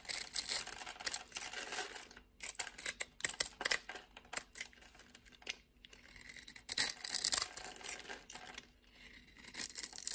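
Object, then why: Soap bar. A utility knife blade scrapes cubes off a solid orange soap bar that has been scored in a grid. The sound is a dry, bright, crumbly scratching that comes in dense bursts, separated by short quiet gaps, with almost no low end.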